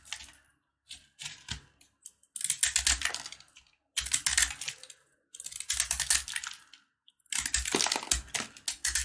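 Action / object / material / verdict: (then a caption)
scrape / corn-kernel jaggery candy bar / jaggery candy / none. A box-cutter blade carves and scrapes a hand-held, solid, brittle yellow corn-kernel jaggery candy bar. A few short crackles open the clip, then longer bursts of crisp, bright scraping and crunching follow with brief pauses between them.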